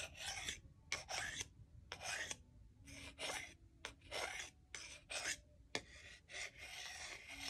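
A solid wooden salad fork is scraped over the bowl of a solid wooden salad spoon in short, irregular strokes. Each stroke gives a dry, bright, raspy rub with brief quiet gaps between them.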